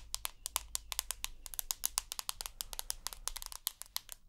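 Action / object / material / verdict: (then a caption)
tap / smartphone with glass screen and aluminium body / glass / none. Long nails tap the white glass screen of a rose gold iPhone with an aluminium body. The result is a quick, uneven run of about 29 sharp, bright clicks that stop dead, over a faint low hum, with a crossfade partway through.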